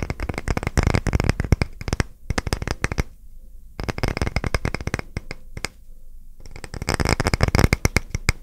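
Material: Wood.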